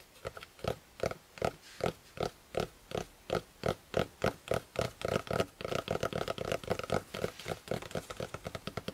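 Fingertips of both hands tap on the cover of a closed, maroon, fabric-covered hardcover spiral notebook resting on a quilt. Soft, muted thuds come at an even pace, then speed up into a quicker, denser patter of taps.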